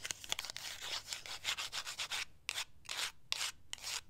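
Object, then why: Cardboard product box. Long acrylic nails scratch and rub along the length of a slim, grey, matte cardboard cosmetic box that is closed and hollow. The result is a series of bright, hissy scraping strokes concentrated in the high frequencies, separated by short pauses and sharp little clicks, with almost no low end.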